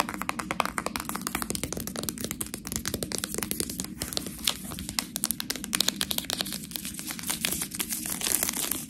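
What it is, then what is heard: Plastic bag of fresh tortellini. Long nails rapidly tap and scratch the side of a full plastic package of fresh tortellini held close. The result is a dense, steady stream of bright, crisp crinkling clicks over a soft, constant low hum, with no pauses for the whole clip.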